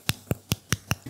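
Five short, crisp taps on the outside of a freshly baked NYC-style chocolate cookie give sharp clicks with a low thud and bright high edge. The clicks show a nicely crisp crust, while the inside is soft and gooey.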